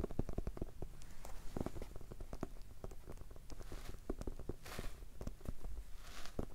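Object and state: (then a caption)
Hardcover notebook. A small, solid red hardcover notebook, held flat and then upright, is tapped rapidly with fingertips. The result is a dense stream of soft, dull, low thuds with very short decay, and a couple of brief brighter swishes near the end.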